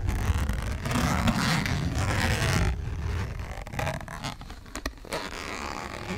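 Long nails scratch and tap a flat purple printed cardboard eyeshadow palette box held close to the mic. A dense, rough, low scratching fills the first few seconds, then softens into quieter scraping broken by sharp, bright taps.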